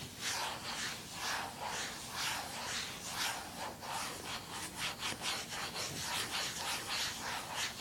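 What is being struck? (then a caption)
Plastic handheld game console. Fingers rub across the lid of a small, hollow, closed blue plastic handheld game console, and the console is then turned over to its back with screws and a label. Steady, bright rubbing and scratching strokes repeat at an uneven pace of about one per second, with almost no low end.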